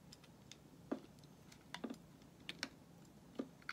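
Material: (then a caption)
Soap. A small, solid white bar of soap is held in the fingers and shaved with a metal utility blade, its flakes falling onto a pile of shavings. Repeated short, crisp scraping strokes sound as dry ticks and clicks with bright edges, scattered irregularly over a quiet, low background hum.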